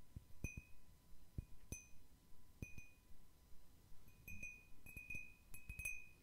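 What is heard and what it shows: A medium-sized, round cut-crystal glass bowl, hollow and empty, is held in one hand and tapped with the fingernails. Each irregularly spaced tap gives a sharp click followed by a bright, high glassy ring, and the taps cluster closer together toward the end.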